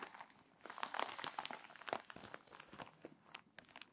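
An open glossy paper magazine with crinkly, water-damaged pages lies flat on a table while long white-tipped nails and fingertips rub, scratch and turn the pages, creasing the spine. Dense, dry crinkling and crackling fills the clip in quick bursts, brightest around the one- and two-second marks. It ends with softer rustling.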